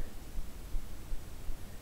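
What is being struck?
Nothing is struck.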